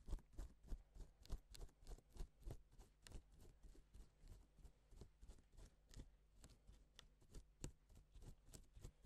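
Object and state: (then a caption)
Plastic sequin fabric. A gloved fingertip strokes and flips the sequins on a flat, reversible pink and silver plastic sequin fabric sheet, drawing letters. This produces a quiet, loosely rhythmic series of short, crisp clicks and soft rustles, each snapping off with almost no ring. Some flips land as brighter ticks over a low, muffled rumble.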